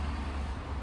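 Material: Nothing is struck.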